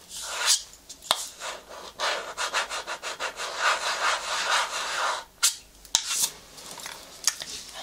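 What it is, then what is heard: Plastic cosmetics jar. A green plastic cream jar with a white lid is held in one hand while fingertips and nails rub and scratch across the lid. The sound is a dry, bright scraping and rustling, with sharp clicks from the nails and brief pauses. Nothing rings on between strokes.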